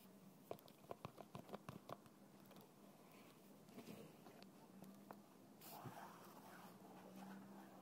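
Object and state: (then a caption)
Plastic bottle with liquid. A fingertip taps the side of a small translucent plastic bottle with a red plastic cap, lying on its side on a table and partly filled with clear liquid. A quick run of short, sharp, dull taps opens the clip, followed by softer, scattered taps and light rustling. A faint steady low hum runs underneath throughout.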